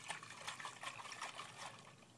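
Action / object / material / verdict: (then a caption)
shake / aluminum baseball bat / aluminum / full. An aluminum baseball bat wrapped in duct tape and filled with water is shaken, and the water sloshes around inside. The result is a soft, trickling slosh with little low end.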